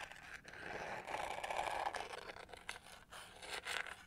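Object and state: Plastic hair brush.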